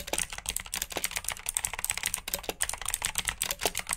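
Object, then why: Plastic mechanical keyboard. Fingertips with short nails type steadily on a full-size black plastic mechanical keyboard with RGB backlit keycaps, clicky blue switches and hollow key housings. Fast, overlapping bright clicks and clacks run continuously with very short decay. The hollow, plasticky clatter carries little low end.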